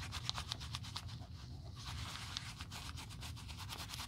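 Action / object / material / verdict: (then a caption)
scrape / quilted leather handbag / leather / none. A cotton pad held in metal tweezers is rubbed back and forth across the quilted panels of a black quilted leather Chanel 2.55 Reissue flap bag lying flat for restoration, while a gloved hand steadies the bag. The result is a quiet, continuous scratchy rubbing over a low rumble, with rhythmic bright swishes from each stroke.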